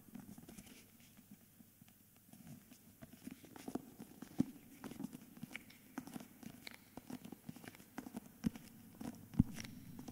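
Fingertips and short nails tap and scratch the front cover and edges of a thick, solid, handheld hardcover of "Meistererzählungen" wrapped in a glossy paper dust jacket. Soft, irregular taps with a dull low-mid thud mix with dry papery scratching and faint bright crinkles. A few sharper taps stand out above the quiet, steady rustle.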